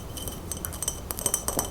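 A light blue glass mason jar holding pens and markers, resting on a frame, is tapped in a quick, irregular series. Each tap gives a short, bright, glassy clink that dies away almost at once.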